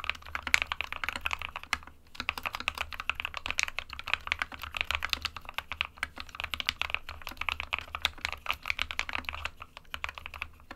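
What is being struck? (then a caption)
Plastic mechanical keyboard. Both hands type rapidly with their fingertips on an SK61 small 60% mechanical keyboard with a white plastic case and plastic keycaps, resting on a printed desk mat. The result is a steady, dense stream of short, bright, clicky key taps with almost no ring.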